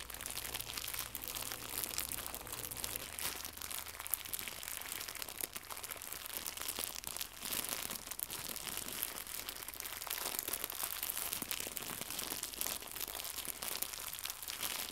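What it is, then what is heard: Plastic packaging film being crinkled. Fingertips crumple and crinkle a small, white, translucent plastic packaging film pack with a bow inside. The result is a steady stream of dense, bright crackles and crinkles that continues throughout, with little low-end weight and a faint low hum in the first few seconds.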